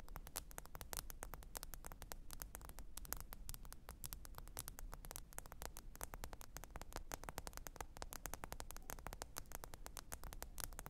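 Long pointed acrylic nails tap rapidly and continuously on the glass screen of a small, thin black smartphone lying flat, screen up, on faux fur. The result is a dense stream of quiet, sharp, bright clicks that stop almost instantly, over a steady low rumble.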